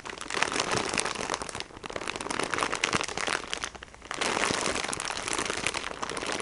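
Fingertips with painted nails tap and squeeze a plastic-wrapped sponge pack, crinkling the wrapper. Dense, bright crackling and crinkling runs throughout, easing briefly around 1.7 seconds and again just before 4 seconds before picking back up steadily.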